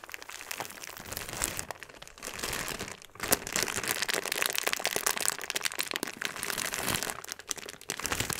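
A clear plastic bag full of small purple granules is pressed and rubbed with flat fingers, then lifted. It gives dense, bright crinkling and gritty crunching, with the beads shifting inside. The sound comes in continuous bursts with brief quieter dips, and there is little low end.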